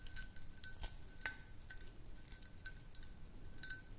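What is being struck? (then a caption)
Small glass jar. Long nails tap and click on a small, round, empty clear glass jar. Quick, bright clinks with short rings come in an irregular series over a faint, steady low rumble.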